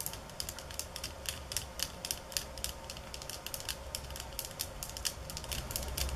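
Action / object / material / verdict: tap / bamboo slat mat tapped with fingernails / bamboo / none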